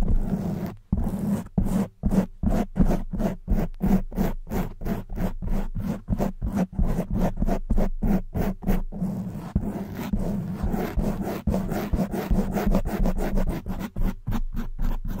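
Long white nails scratch fast on both sides of a soft black foam windscreen fitted on a silver condenser microphone. The result is a dense run of rough, zipper-like rasps with a deep, boomy low body, broken by short gaps into quick repeated strokes.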